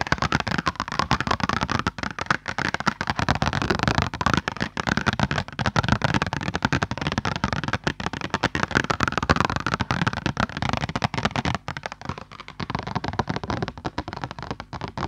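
Medium-long purple-painted nails tap and scratch across a single flat white sheet of printer paper held up with both hands. The result is a dense, continuous run of dry crackling taps and rustling scratches with a papery midrange, steady for most of the clip and thinning slightly toward the end.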